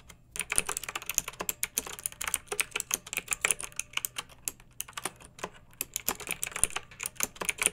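A pink backlit mechanical keyboard with round, typewriter-style plastic keycaps, resting on a fluffy rug, is typed on steadily with the long nails and fingertips of both hands. It makes a quick run of bright, crisp plastic clicks and clacks with a faint tapping edge from the nails. Each keystroke is sharp and dies away at once, with very little low end.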